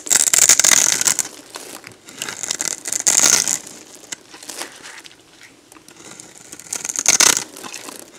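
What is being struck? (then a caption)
Bar of soap. A metal box-cutter blade scrapes and carves a solid, dried red soap bar with a textured surface, held in one hand, into crunchy shavings that fall onto a bed of soap chips. Bright, crisp crunching and crackling come in uneven bursts, loudest at the start, around three seconds and near seven seconds, with almost no low end. Quieter scraping fills the gaps between bursts.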